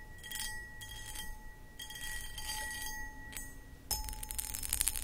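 Long acrylic nails scratch and tap the cut pattern of a medium, hollow, empty cut crystal footed glass pedestal bowl. Bright, gritty scratching comes in bursts over a low background rumble, while steady glassy ringing tones hang beneath. A sharper cluster of clinking taps arrives near the end.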